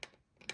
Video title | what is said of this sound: Mortice Matters - Old Style Legge Part 2 - picking the alternative type of lever set | When it's in an anti-pick notch, if there's a little bit of movement, you can hear it's a different sound, and there's a lot less movement.